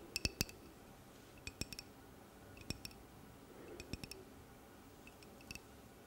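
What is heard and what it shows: A medium-sized clear glass water bottle with a grey plastic cap, hollow and nearly empty, is held in the hand and tapped with long painted nails. Short, bright clicking taps with a glassy ring come in small clusters over a quiet background.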